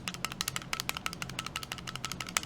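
A Ruger LCP MAX compact pistol with its magazine removed is shaken close to the microphone. It gives a rapid, bright, clicking rattle of loose internal parts, about 19 short clicks over a low hum. The rattle marks the pistol as not normal, unlike a Smith & Wesson that stays silent when shaken.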